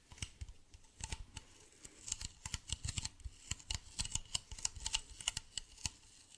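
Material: Plastic.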